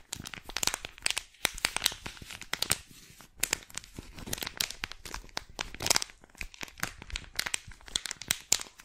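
A small, flat silver plastic foil wet wipe sachet is held in both hands while long black-painted nails crinkle, scratch and squeeze the packaging. The result is a dense run of sharp, bright crackles and crinkles with very little low end.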